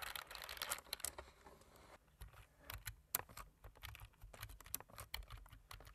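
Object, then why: Plastic computer keyboard. Fingertips of both hands type quickly on a black plastic computer keyboard with a light frame. A dense flurry of bright, sharp key clicks opens the clip, then gives way to lighter, more spaced taps that die away almost instantly over a faint low hum.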